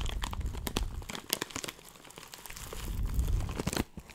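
A labeled clear plastic bag filled with small dried herb granules is crinkled and squeezed by fingertips. Dense crinkling and crunching come with sharp bright snaps and a low rustling rumble, each crackle cut off almost at once.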